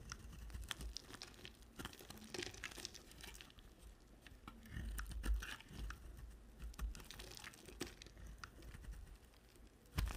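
A small black-handled knife repeatedly shaves, scratches and chips pieces off a solid white bar of soap with red edges held in the hand, and the shavings pile up on a white surface. Quiet, dry scraping and crinkly crunching run through the clip with short, bright ticks, over a low rumble, and a louder chip lands near the end.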